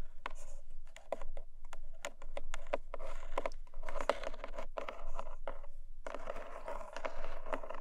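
Long fingernails tap and scratch the top of a closed, hollow, long narrow black cardboard gift box resting on a fluffy rug. Quick, sharp taps mix with dense scratchy rustling, giving a dry, hollow mid-pitched resonance with almost no ring after each contact.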